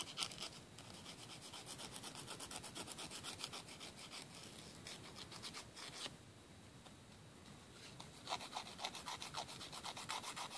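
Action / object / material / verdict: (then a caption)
scrape / emery board nail file on a fingernail / emery board / none. A thin, flat, solid emery board nail file with a grit coating is held in the fingers and drawn back and forth across a fingernail tip over a wooden table. It makes quick, dry, raspy scratching strokes, about four per second, bright and hissy with little low end. The strokes ease into a softer, steadier rub around the middle before the sharper rasping picks up again.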